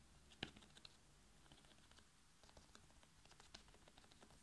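A whole red bell pepper, hollow with a firm glossy skin, is held in one hand and tapped quickly by the fingertips of the other. The result is a quick run of light, dry, clicking taps with a bright edge, with one sharper tap near the start. The rest settle into soft, even patter over a quiet background.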